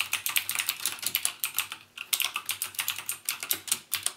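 Fingertips type rapidly on a backlit mechanical keyboard with plastic keycaps and Cherry MX Blue switches. Each press gives a bright, crisp click that stops almost at once, in a steady, quick stream with a brief pause near the two-second mark.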